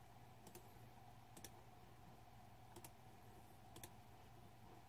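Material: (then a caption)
Plastic. Fingertips slowly type on a green-backlit Razer 2014 Deathadder mechanical keyboard with plastic keycaps, the hand hovering over the keys. Eight soft, bright clicks land in four close pairs. A steady low hum with a faint midrange tone runs underneath throughout.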